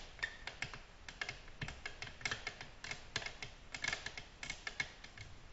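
Long natural nails tap a flat, solid, glossy black glass tabletop in a gentle, irregular rhythm of about 26 light taps. Each tap is a short, bright click with a faint ring near 2 kHz that fades quickly, with quiet background between taps.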